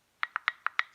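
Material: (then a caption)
Metal. A metal canning jar lid is pressed at its center five times, giving five short, bright metallic pings with quick decay. The lid flexes and pings because the jar is not sealed; a sealed lid would stay down and not ping.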